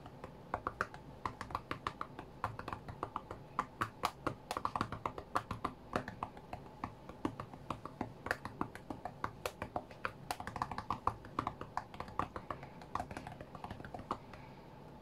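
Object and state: Glass tablet touchscreen tapped.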